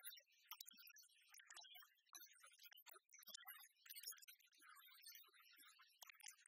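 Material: Metal.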